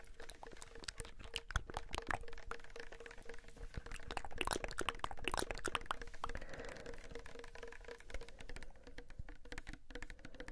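A small pink Sagrotan plastic hand soap bottle, apparently filled, is tapped quickly with fingertips and nails. The result is a dense, steady stream of short, dry clicks and taps with a faint steady tone underneath. The tapping grows slightly busier in the middle before settling back.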